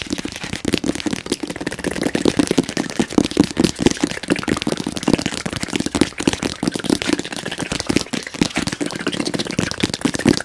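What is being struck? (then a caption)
Cardboard box. A medium-sized, hollow white printed cardboard box for a round gadget is held up and rapidly tapped and scratched with fingernails. The fast, continuous tapping gives dry, hollow knocks centered around 250 Hz, with a scratchy hiss that carries into the high range and no pause throughout.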